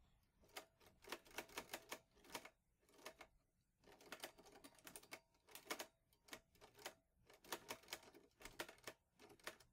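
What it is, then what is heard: Metal portable typewriter typing. Fingertips press the keys of a vintage teal metal portable typewriter, an Olivetti Lettera 22 with paper loaded, in steady typing. The metal typebars clack in quick bursts of sharp, bright strikes separated by brief pauses, each clack dying away almost instantly with very little low end.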